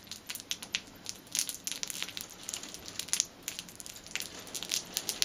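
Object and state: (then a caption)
Cellophane wrapping crinkled. A small cellophane-wrapped item is held in both hands and crinkled and squeezed with fingertips and long nails. The result is a quick stream of bright, crackling crinkles and snaps with almost no low end, each dying away instantly.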